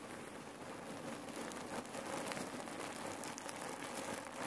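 Fingertips squeeze and knead a folded red cotton neck pillow filled with cherry pits, shifting the pits inside. A steady, dense crunching rattle of hard pits grinding and clicking against each other runs throughout, mostly in the mids with a bright, gritty edge and little low end.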